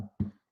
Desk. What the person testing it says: it sounds solid when i knock on it